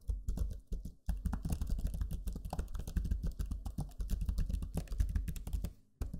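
Fingertips type steadily on the low-profile plastic keys of a backlit black Lenovo Legion 5 laptop keyboard. Many quick, soft clicks and taps run together in a continuous patter with a low, muffled body. The typing pauses briefly around one second and again near six seconds before resuming.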